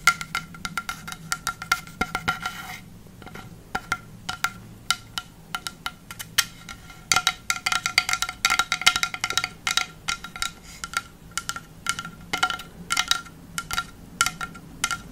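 Long fake nails tap on the flat face of a long, solid pine board held horizontally. Bursts of quick, dry clicks with a bright, wooden ring around 1.4 kHz die away almost instantly, with brief quieter pauses between clusters.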